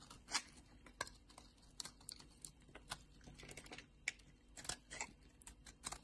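A solid pink bar of soap, held in hand, is carved and scraped with a utility knife blade so shavings peel off. Quiet, bright, crisp scratches and short cutting ticks come in an irregular patter, each one dry with almost no ring.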